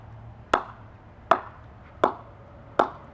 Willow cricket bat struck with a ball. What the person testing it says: even though there's a lot of concavity in the blade but it's solid as rock